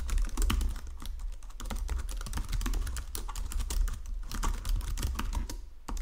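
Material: Plastic.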